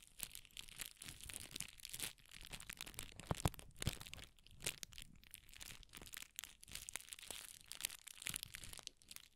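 A rolled strip of red tissue paper is stretched and twisted between the fingertips. It gives a steady, quiet run of bright, dense crinkles and crackles that rise and fall in small bursts throughout.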